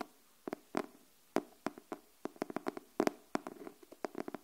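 Long nails tap the cover of a pink cardboard hardcover paper notebook held upright, making about seventeen short, dry, hollow taps in an irregular rhythm. Each tap is quiet and mid-pitched and dies away almost instantly, leaving brief silences between clustered strikes.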